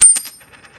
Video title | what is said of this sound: Coin shop talk #bankrun #financialfreedom #economiccollapse #silver @usrc-tj | That's silver. It has a lot higher pitch.